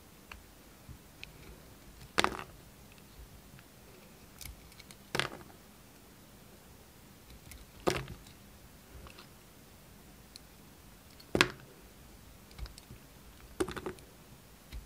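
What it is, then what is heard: Bar of soap being carved. A hand-held, hand-sized solid purple bar of soap is carved with the steel blade of a red utility knife. Five sharp, bright cutting snaps stand out, with softer scraping ticks between them. A quiet low hum sits underneath.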